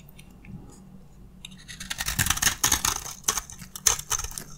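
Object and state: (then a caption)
Dry soap bar scraped with a blade. A metal utility blade scrapes crunchy flakes from the side of a solid, dry beige soap bar held in the hand. After a quiet opening, a run of bright, dry crackling scrapes follows, with brief high glints over the crunch.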